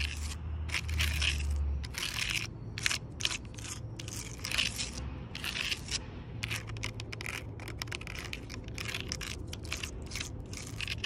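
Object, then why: Rough tree bark on a log. Long purple nails tap and scratch the rough bark of a large, solid log. Quick, dry bursts of bright, crackly scraping come in a steady stream over a constant low rumble, each sound dying away almost at once.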